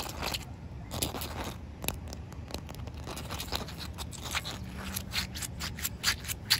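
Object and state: Wet concrete slab.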